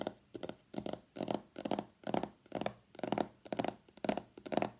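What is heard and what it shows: Long nails tap on the printed back of a small, hollow white cardboard iPhone X box that has been turned over. Quick clusters of light, dry, papery clicks with a hollow mid-range tone repeat about twice a second in an uneven rhythm, each dying away at once with no ring.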